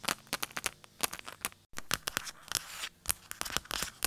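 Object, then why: Phone case. A phone case is tapped quickly and aggressively, producing rapid, sharp, bright clicks and scratchy taps that die away almost instantly. There is a brief silent gap partway through before the fast tapping resumes.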